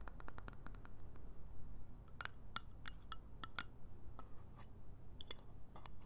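A small round metal lip balm tin has its lid tapped and scratched with long nails, then it is opened, and the lid and base clink against the nails. Many sharp, bright metallic ticks and short ringing clinks are heard over a low, steady rumble.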